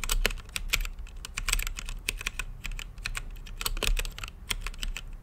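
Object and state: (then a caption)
Mechanical keyboard typing. Fingertips type on an RGB-lit mechanical keyboard with plastic keycaps and a clear acrylic case. A rapid, uneven run of key presses gives sharp, bright clicks that cut off almost instantly, over a steady low rumble.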